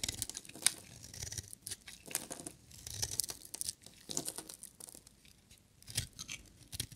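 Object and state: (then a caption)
Dry bar soap. A solid, hand-sized, purple and white striped glittery bar of dry soap is held in the hand and shaved with a metal utility knife blade, with the shavings curling off. Quiet, dry, crisp scraping strokes come in an irregular series, bright and papery with little low end. Each cut stops dead, leaving no ring.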